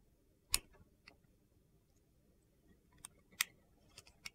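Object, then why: Glycerin soap bar cut with a knife blade. A utility knife blade shaves thin slices from the top of a solid, translucent purple glycerin soap bar held in the hand. Several short, sharp, bright crisp clicks stand apart over a quiet background, each dying away almost at once.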